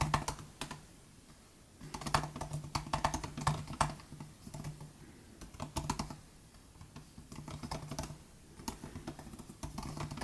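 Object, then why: Plastic butterfly-switch laptop keyboard. Both hands type with their fingertips on the plastic butterfly keys of a 2018 MacBook Air laptop keyboard. Quick bursts of short, bright, clicky taps alternate with brief pauses over a steady low hum.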